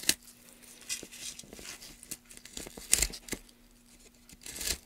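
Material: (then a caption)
Wood. Gloved hands push a gouge along a channel in a solid, light-colored wooden plank lying on a dark mat among wood shavings, scraping and cutting it. Dry, bright scraping strokes and crisp tearing bursts come in uneven spurts over a faint, steady low hum.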